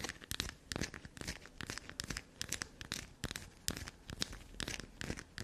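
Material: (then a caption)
Soap. A small solid chunk of dark black soap is held in both hands over a table dusted with soap shavings while long, black-polished natural nails scratch and dig into it. Quick, crisp bright scratches and crumbly tearing crackles repeat in close, irregular bursts as bits crumble off the bar.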